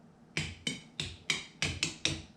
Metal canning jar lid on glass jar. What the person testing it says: If it sounds like a dull thud, that means most likely it's not sealed.